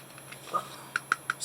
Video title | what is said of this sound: Let's Get Creative with ResinCrete - #JDiction - | just tapping on it right away you can hear it it's very solid